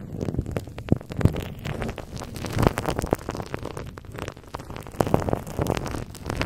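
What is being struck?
Plastic bubble wrap over a microphone grille.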